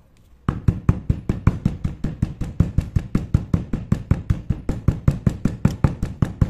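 A hand-held stone pestle pounds and grinds finely crushed multicolored chalk powder in a grey stone mortar. Dull, low, short knocks repeat steadily at a brisk pace after a brief quiet start, with no ring between strikes.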